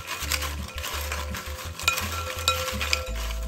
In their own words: Just listen to the sound to know how crispy these fried potato chips are.